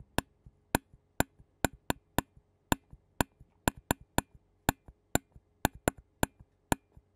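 A clear disposable plastic spoon taps and scrapes the black metal mesh microphone grille of a handheld Zoom recorder held on a yellow surface. There are 17 sharp, bright clicks with almost no ring, and fainter softer taps fall between them over a low, steady background hum.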